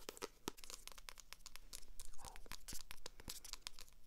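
Long acrylic nails scratch the glossy cover and page edges of a purple paperback book. A dense run of quick, bright, crinkly scratches and taps sounds close and dry over a low background hum.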